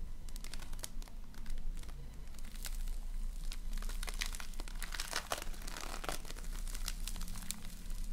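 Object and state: Floam (foam-bead slime) being squeezed.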